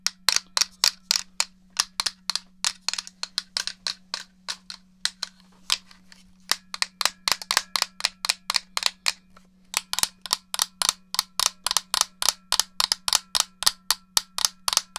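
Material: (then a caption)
Plastic. Fingertips and nails tap and click the buttons of a hollow, black plastic GameCube controller, producing about 57 sharp, bright clicks with almost no ring. The clicks come in quick runs with brief pauses near 5–6 seconds and 9.5 seconds, over a faint steady low hum.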